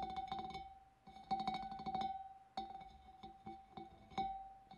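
Long nails tap the wavy rim of a large, empty, hollow clear glass fish bowl, each tap a quick, bright click that rings out in a clear, sustained tone near 770 Hz. The taps come in quick flurries and then slower single strikes, with the glassy ring hanging briefly between them.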